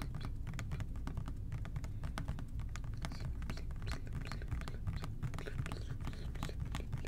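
Fingertips tap rapidly and steadily on the body of an OxiClean plastic spray bottle held close to the ear. The taps are soft, dry and short, with bright clicky edges over a dense, steady low rumble that continues throughout.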